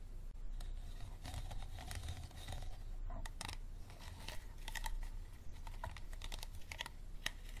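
Fingertips and nails tap quickly on the textured sides of an empty, hollow, clear plastic water bottle with a green cap. The result is a rapid run of light, dry clicks with a bright plastic edge and a tone near 1.9 kHz, over a steady low rumble.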